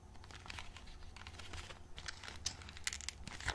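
A small, printed cardboard box of Pelikan plastilina modelling clay, still closed with its contents hidden, is held in both hands while fingertips pry open and crinkle its glued cardboard flap. Dry, bright tearing and crinkling crackles come in quick, uneven bursts over a low, steady rumble, with the sharpest snaps near the end.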